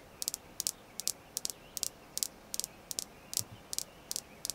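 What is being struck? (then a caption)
Red jasper stone. Light, quick tapping on a red jasper crystal stone: 15 short, bright clicks arrive in small irregular clusters. Each tap dies away instantly with no ring, over a faint steady hiss.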